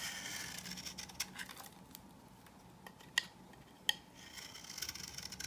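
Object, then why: Bar of soap scraped with a knife. A knife scrapes and cuts thin layers off a hand-held, solid, dry coral-pink bar of soap. Soft, bright, gritty scraping is punctuated by a few sharp, crisp clicks as the blade snaps through, with very little low end and almost no ring.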